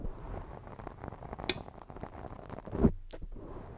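Long decorated fake nails from both hands scratch a round black foam windscreen, soft and porous, covering a hollow microphone body. The result is a steady, muffled, bass-heavy scratching and squishy rustle. Two louder moments stand out: a brief bright tick midway and a deeper thump near the end.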